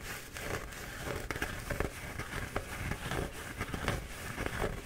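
A flattened, bee-printed paper towel roll is held in both hands while fingertips scratch and pinch the paper. The result is a steady papery rustle with quick crackling scratches and crinkles, close and quiet throughout.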